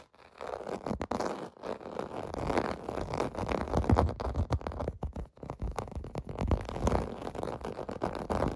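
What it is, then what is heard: Plastic bubble bath mat being scratched. Fingertips scratch and tap across a clear blue plastic bath mat with raised bubble domes resting on carpet. The result is a steady run of dull, muffled scratching and soft, quick taps, heavy in low tones with almost no bright edge.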